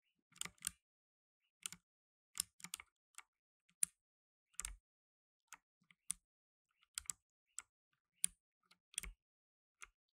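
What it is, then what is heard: Plastic mechanical keyboard. Blue nitrile-gloved fingertips type on a black tenkeyless mechanical keyboard with plastic keycaps. Quiet, bright, dry key clicks come singly and in small bursts, separated by short silent gaps. Each click stops almost instantly with no ring.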